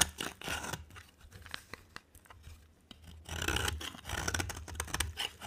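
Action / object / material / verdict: scrape / bar of soap / soap / none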